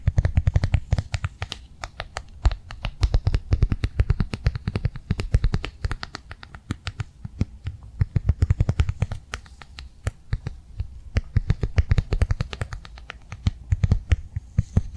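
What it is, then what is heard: Plastic cardholder tapped with fingernails. Long fingernails tap rapidly on the top of a flat blue rectangular plastic cardholder held flat in one hand. The sound is a fast, continuous stream of short, dry clicks with a soft low thump beneath them. Each click fades almost at once, and the taps keep coming in uneven bursts for the whole clip.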